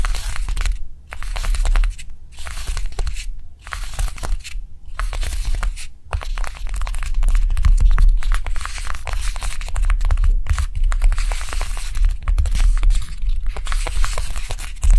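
A small, solid rectangular block of pink dried air-dry light clay rests on a dark cloth and is tapped and scratched quickly with the long manicured nails of both hands. The result is a fast, irregular stream of crisp, bright clicks and dry scratching, with soft low thuds underneath. Brief pauses break up the activity.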